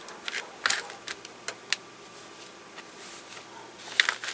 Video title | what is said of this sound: DIY~Amazing Faux Druzy Pendants! Beautiful & Simple! | if I shake it it doesn't sound hard barely